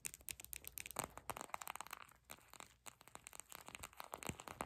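A small clear purple plastic eye mask filled with gel beads is held up and squeezed and scratched with long pink acrylic nails and fingertips. The result is quiet, dense crinkling and crackling with many short, sharp clicks and brief scratchy rustles, bright and crisp with little low end.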